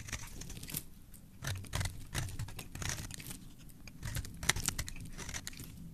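A metal blade carves and scrapes a solid bright green oval bar of soap with an embossed logo, held in the hand, as shavings fall off. Quiet, crisp scraping and crunchy shaving strokes come in irregular bright bursts over a soft low rumble, with one sharper scrape near the end.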